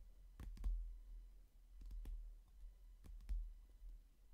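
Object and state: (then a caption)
Hardcover book. Fingertips and short nails tap on the glossy cover of a hardcover book in close-up, giving short, soft clicking taps in small quick clusters. The taps are quiet and crisp over a faint low hum.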